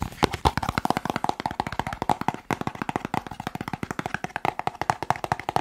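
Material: Cardboard.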